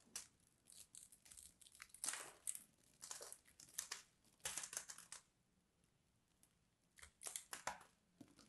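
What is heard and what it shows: A small metal blade scratches and cuts a grid pattern into a hand-sized solid purple bar soap with an embossed logo, then chips off the squares. Bursts of dry, bright scraping and crisp crumbly cutting come in quick clusters, with a quiet pause partway through before a final run of sharp scrapes.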